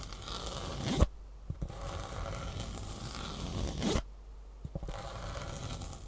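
Long fingernails scratch along the ribbed fabric top of a green foam shoe insole held in the hands. Two long, raspy scratching passes each build to a sharp catch at the end, followed by a brief pause and a few light ticks before the scratching resumes.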